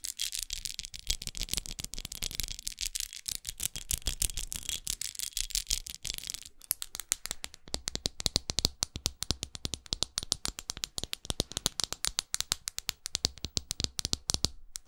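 Long acrylic nails scratch and tap the studded glass face of a small red pyramid-studded glass perfume bottle held close. The first half is a dense, bright scratching rasp, which gives way to rapid, crisp clicking taps with very short decay and a faint low thump under them.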